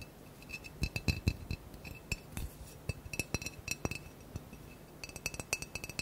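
Fingernails tap quickly on a blue-green glass bottle with a cork stopper, held in the hand and partly filled with decoration inside. It makes a rapid, uneven run of short, bright glassy clicks and clinks that die away almost at once, with a faint high ringing tone between the taps.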